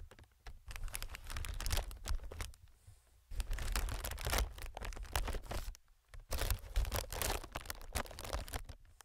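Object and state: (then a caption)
Plastic air packing pillow. Fingertips tap and scratch on a clear, hollow, inflated plastic-film air packing pillow, making dense bursts of crinkly, bright clicks over a low, muffled thump. The sound comes in three busy stretches separated by brief quiet pauses.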